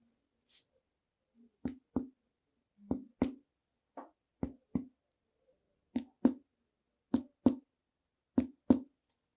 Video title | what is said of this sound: Percussão do tórax na Semiologia do Aparelho Respiratório - Semiologia Médica | Vamos observar o som timpânico. Som timpânico.